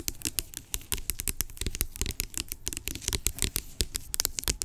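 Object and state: Plastic pump lotion bottle.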